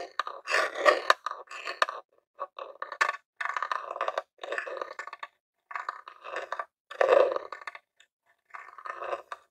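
A jewelled metal claw nail scratches and taps the top lid of a grey plastic Nintendo mini game console, a hollow box. Short bursts of dry, raspy scraping and clicky taps come in clusters separated by brief silences. The sound sits mostly in the mid range with no low end and dies away almost instantly.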